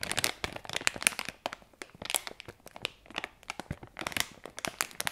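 A sealed, hand-sized, light purple printed plastic-film pouch holding a squishy toy is crinkled and rubbed between both hands' fingertips and long red-painted nails. The result is a quiet, dense stream of sharp, bright crackles and crinkles that stop dead, with almost no low end and short pauses between bursts.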